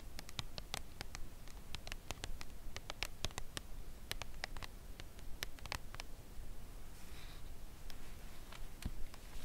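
A full Lindt cardboard chocolate bar box is tapped and scratched on its front by long nails while it lies flat, then lifted upright in both hands. Soft, quick, dry clicks with bright edges sound at an uneven pace over a low, dull rumble. A brief scratchy rustle near the end comes as the box is picked up.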